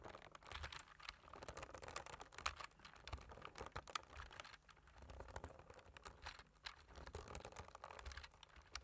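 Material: Plastic.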